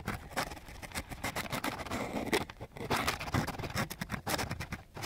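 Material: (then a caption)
Sandpaper. A flat wooden popsicle stick is scraped back and forth across a flat sheet of coarse sandpaper. It makes a rapid series of gritty, rasping strokes with a broad hiss reaching high into the bright range and a little low rumble. Each stroke ends abruptly with almost no ring.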